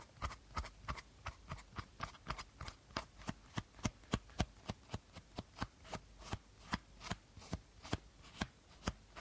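Fingertips and nails tap the body of an empty, hollow clear plastic bottle with a teal cap. About 25 quick, evenly spaced taps each give a hollow low thump with a bright, crisp click that dies away almost instantly.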